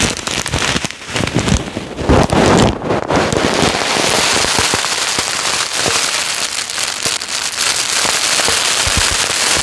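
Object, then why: Polystyrene foam beads in a plastic bag. Fingertips and short nails press and rub a full, clear plastic bag of yellow polystyrene foam beads laid flat. The beads crackle and rustle in a dense, bright hiss of tiny pops that dips briefly early on, swells around the second or third second, then stays steady to the end.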